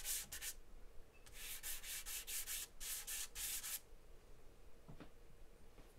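A charcoal stick rubs and scratches across a large white paper sheet taped flat on a table in continuous scribbling. It makes a run of quick, bright, hissy strokes that bunch into bursts, then fades to a quieter tail with a faint low tap near the end.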